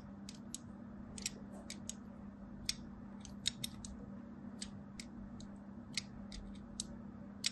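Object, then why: Bar of soap cut with a thin blade. A thin blade scores a crosshatch pattern into a solid striped soap bar held in the palm. It makes a series of short, crisp, bright scratching clicks at irregular intervals over a steady low hum.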